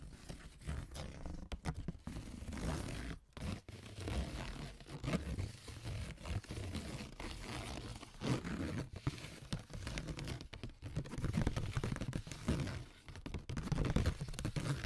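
A thin, flexible brown corrugated cardboard sheet on a table is scratched across its ribs with AA batteries worn on the fingertips. The result is continuous dense, low rasping scrapes with a rough, ribbed texture, broken by brief pauses.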